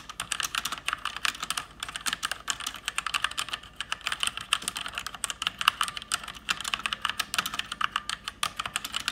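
Fingertips with long red-painted nails type fast on a full-size mechanical keyboard with plastic keycaps and RGB backlight, its hollow keys clacking on their switches. Dense, bright clicks patter continuously for about nine seconds, each one short and dry with almost no low end.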